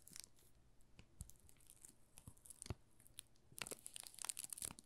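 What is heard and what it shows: A solid pink Marseille soap bar wrapped in thin plastic film is held in both hands while the fingertips and short nails rub and crinkle the film. Soft, bright crackles and sharp ticks come in irregular bursts, growing busier and denser in the last second or so.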